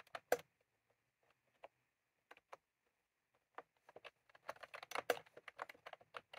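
Fingertips of both hands type on a full-size plastic computer keyboard with round cream typewriter-style keycaps resting on a desk. Short, crisp clicks come in a sparse scatter at first, then speed up into a quick, continuous run of tapping. Each click dies away almost instantly.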